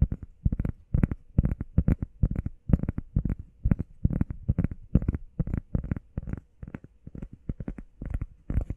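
Fingernails tap fast on a heart-shaped workout foam pad, giving soft, dull, low thuds in quick irregular bursts with almost no ring. About 43 taps fall across the clip.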